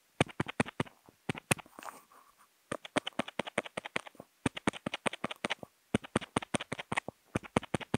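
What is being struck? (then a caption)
Kent paper sheet tapped with a paint-marker tip. A marker tip with a contact mic on it taps rapidly on a flat sheet of white Kent paper to make dots, with a few short strokes in between. The taps come as sharp, dry clicks in quick irregular bursts, and a soft scratchy smear of sound near the two-second mark marks a stroke.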